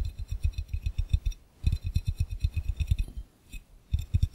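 Fingertips and nails of both hands tap rapidly on an empty, hollow, clear round glass fishbowl. About two dozen quick taps come in bursts with short pauses, each a dull low thud with a faint bright glassy click on top that dies away almost at once.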